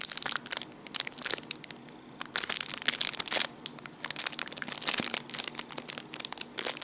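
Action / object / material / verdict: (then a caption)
scrape / small clear plastic bag / plastic / none. A small clear plastic packaging bag with a dark item sealed inside is crinkled and squeezed with fingertips. It makes bright, crackly bursts of crinkling in irregular clusters, separated by brief quieter gaps, with almost no low end.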